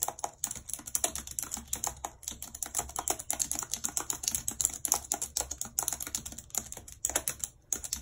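Long red nails type quickly on the plastic keys of a white computer keyboard. Dense, rapid, bright clicking and tapping, with very short, sharp strikes and little low end. There are no pauses, and there is a faint low hum underneath.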